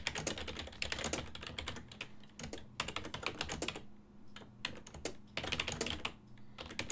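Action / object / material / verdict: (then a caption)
tap / plastic computer keyboard / plastic / none. Fingertips of both hands type on a full-size black and silver plastic desktop keyboard, its keys set on a hollow body. Rapid bursts of short, bright, clicky keystrokes come in runs separated by brief pauses, each tap dying away almost instantly. A steady low hum near 200 Hz runs underneath throughout.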